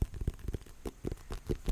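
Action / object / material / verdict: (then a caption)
tap / pumpkin rind / pumpkin / none. A white and orange striped pumpkin is tapped in a quick, uneven series of soft, hollow, low thumps. Each tap is dull and bass-heavy and dies away almost instantly.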